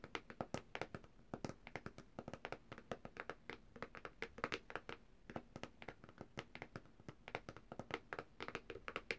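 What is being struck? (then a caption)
Plastic tablet back cover. Long nails and fingertips of both hands tap rapidly on the hard plastic back of a black Samsung tablet lying flat, back side up. Dozens of short, dry clicks and soft thuds come in quick, uneven bursts, each dying away almost at once, with a tone centered near 465 Hz and bright nail ticks on top.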